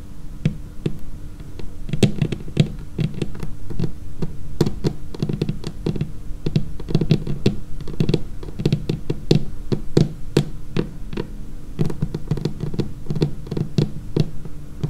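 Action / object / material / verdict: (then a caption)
tap / laminated wooden tabletop / laminated wood / none. Long painted fingernails of both hands tap steadily across the edge and surface of a dark laminated wooden tabletop. The taps come as quick, irregular clusters of dull, low knocks around 150 Hz, each with a faint bright click and almost no ring, over a soft steady hum.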